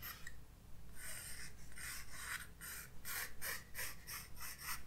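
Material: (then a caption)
Paper. A graphite pencil sketches lines across a white paper page of a spiral-bound sketchbook resting on a wooden desk. Soft, dry scratching strokes come in quick repeated bursts of bright, raspy hiss, growing denser and brisker toward the end over a faint low background hum.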